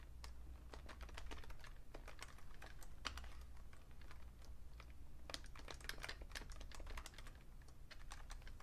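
Fingertips type on a vintage beige Fujitsu Siemens full-size keyboard with a hollow plastic case, making a steady run of quick, bright clicking taps over a constant low hum. Each key tap is short and dry, fading almost instantly.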